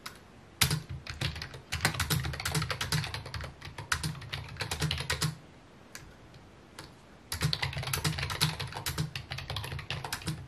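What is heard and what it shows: Fingertips type on a full-size white and mint plastic computer keyboard with a hollow housing, resting on a wooden desk. Rapid key taps give bright clicks over a hollow low thump in bursts, then pause with only a couple of isolated taps. The typing then resumes at a steady pace to the end.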